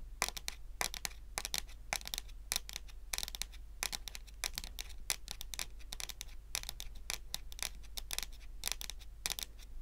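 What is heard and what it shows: Natural long nails tap and scratch across a solid, dark wood-grain wooden tabletop. A rapid, irregular stream of sharp, dry, bright clicks and short scrapes dies away almost instantly, over a steady low hum.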